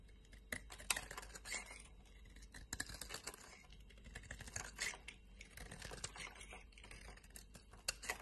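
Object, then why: Bar of soap. A solid lime-green embossed bar of soap, held in a hand with long multicolored nails, has its corner shaved and scraped with a utility knife blade. Quiet, bright, crisp scratching and shaving strokes come in short bursts with brief pauses over a faint low hum.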